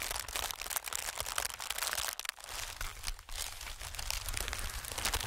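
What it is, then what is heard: Plastic air pillow being crinkled. Fingertips tap, scratch and crinkle an inflated clear plastic-film air pillow. The result is a steady run of dense, bright crinkling and crackling with short dry ticks. The sound briefly quiets about two seconds in and again just past three seconds.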